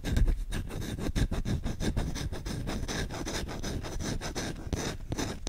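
Short-nailed fingertips scratch rapidly across the bowl of a solid wooden spoon. The result is a dense, continuous run of dry, rasping strokes, mostly low and muffled, with a faint bright hiss on top and no ring after each stroke.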